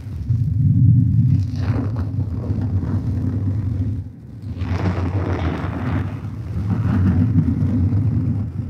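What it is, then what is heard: Hardcover book page edges scratched. Fingernails scratch the paper page edges and spine area of a thick black hardcover book tilted close to a microphone. The result is a continuous low, rumbling scratch, heavy in the bass, that briefly drops off around the four-second mark before resuming.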